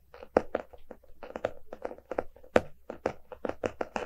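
A closed, solid hardcover book with a paper-covered cardboard cover lies on a rug and is tapped and scratched with the fingertips and short nails of both hands. About fourteen soft, dull taps centered in the low-mid range die away almost instantly, with brief scratchy brushing between them.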